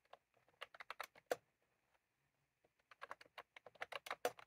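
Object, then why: Plastic mechanical keyboard keys. Both hands type on a plastic mechanical keyboard with round keycaps, tapping the keys with their fingertips while a clip mic rests untouched on the keyboard. Crisp, short plastic clicks come in quick bursts, with a brief pause partway through before the typing resumes.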